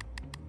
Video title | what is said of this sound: RV Roof and Front Cap Inspection Guide | I'm able to tap it and it's loose